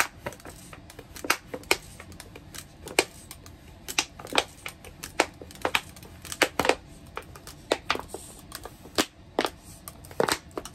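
Long red-painted nails tap and scratch along the sides of a medium, hollow clear plastic tub with a white plastic lid, gripped in both hands and mostly empty except for a few orange bits inside. An irregular series of sharp, dry, bright clicks sounds with almost no ring or low end. Soft scratchy rustling fills the gaps between them.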